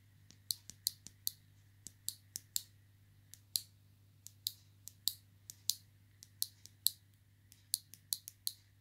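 A small pink plastic clothes peg with a metal coil spring is held in the fingers and clicked open and shut against the spring. About 27 short, sharp, bright clicks come at an uneven pace, each dying away almost instantly over a quiet, faint low hum.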